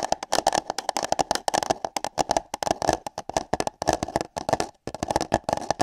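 Long nails and fingertips tap, scratch and grip hollow paper cups fitted over microphone ears. The result is a rapid, uneven run of short, dry clicks and crinkly scratches with a hollow, boxy resonance in the midrange, bright crackle on top, and a brief pause near the end.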